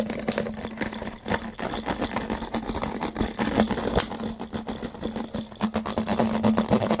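A clear, thin, crinkly plastic water bottle, hollow and empty, is held in both hands while its ridged sides are scratched and squeezed with fingertips and short nails. The result is fast, irregular scratching and crinkling with sharp, bright clicks over a faint steady low hum near 220 Hz.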